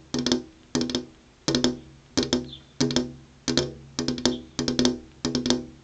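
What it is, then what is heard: Glass window pane. Long purple-painted fingernails tap a flat glass window pane that has an insect screen behind it. Nine quick bursts of two or three sharp, bright clicks are heard, each with a short, hollow ring around 250 Hz that fades quickly.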